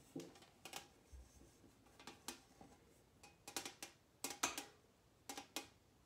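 A large round silver metal lid from a cookie tin, held in the hands, is tapped and scratched with long painted nails. Quick, bright metallic taps and clicks come in irregular bursts with short rings, separated by quiet scratching.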